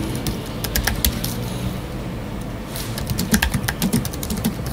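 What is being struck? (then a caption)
Aluminium and plastic computer keyboard. Fingertips of both hands type rapid key taps on a space grey Apple Magic Keyboard with numeric keypad, a thin aluminium body with black plastic scissor-switch keys resting on a wooden desk. The taps are short, dry clicks with bright, crisp edges that die away almost instantly. They sit over a steady low rumble and grow denser and louder in the second half.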